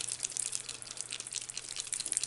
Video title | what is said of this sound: Colour with me in Rita Berman's 'Mein Herbst Spaziergang' - Pumpkin patch page | shake it until you hear the the ball bearing in there